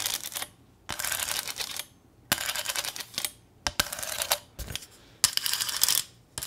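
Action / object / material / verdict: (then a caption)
tap / thin corrugated sheet-metal sign / sheet metal / none. A small, thin corrugated sheet-metal welcome sign with a ribbon bow attached is tapped and clicked with long nails. The result is bursts of quick, bright, high metallic clinking and rattling, separated by short pauses.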